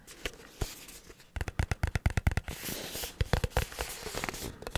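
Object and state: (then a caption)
Container of breadcrumbs rattling inside. A container of breadcrumbs is tapped quickly but gently, with fingers drumming on it in a rapid string of soft, dull thuds. Between the taps, the loose crumbs inside shake and rattle with a brighter, grainy hiss.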